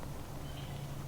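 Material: Nothing is struck.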